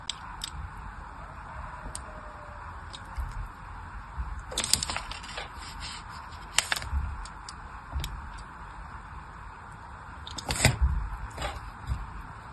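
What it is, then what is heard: Bar soap being scored. A small blade tip scores a crosshatch pattern into the surface of a solid pink bar of soap held in the hand. Light, dry scratching and crisp ticking clicks run over a steady low background hiss, with sharper, brighter bursts of scraping near five, seven and eleven seconds.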